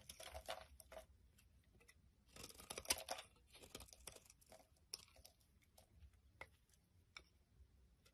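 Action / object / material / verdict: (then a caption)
scrape / bar of soap shaved with a blade / soap / none. A utility knife blade shaves curls off the edge of a solid pink bar of soap held in the hand. It makes soft, bright scraping and crinkling strokes in short bursts, with a longer, denser shave near the middle and quiet pauses between cuts.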